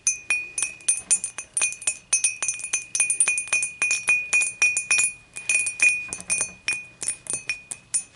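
Long matte nails tap the sides of an empty, clear, dimpled glass beer mug standing upright, using both hands. The result is a rapid, uneven run of bright glassy clinks, each with a short ringing tone near 2.5 kHz and high shimmering overtones that fade quickly.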